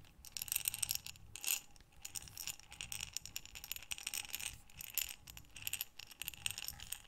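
A medium glass mason jar with a metal screw lid, mostly full of small buttons, is held in both hands with long dark nails and tilted and rotated so the buttons slide and rattle inside. The result is a quiet, continuous, bright clatter of tiny clicks and ticks that swells and fades as the jar turns, with almost no low end.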